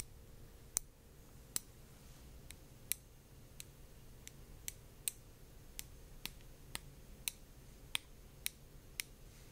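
Light taps on a heavy glass-art orb with very thick walls that is completely hollow inside produce 16 short, bright ticks spread across the clip. Each tap is crisp and dies away almost instantly over a quiet, steady low hum.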